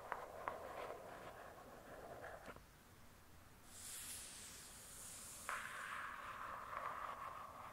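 Long acrylic nails slowly scratch across the glossy paper-covered cardboard cover of a thick hardcover book lying flat. A soft, raspy scratch with a few sharp clicks fades into a brief quiet stretch with a faint bright hiss, then the scratching resumes, a little louder.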